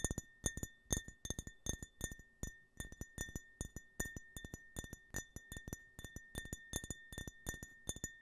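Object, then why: Glass tumbler. A clear, hollow, empty glass tumbler with a US-flag print, held horizontally in front of the microphone, is tapped with fingertips and nails. The result is a quick, uneven run of short, bright clinks with a faint lingering glassy ring.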